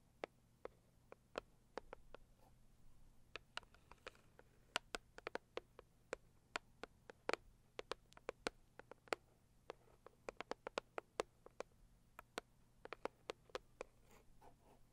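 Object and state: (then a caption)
Cardboard gift box tapped with long nails. Long purple acrylic nails tap and scratch the lid of a medium-size, hollow, pink floral Saviland rigid cardboard gift box. About 44 sharp, dry clicks come in uneven bursts over a soft scratching rustle and a faint low hum. Each tap stops almost instantly, with no ring.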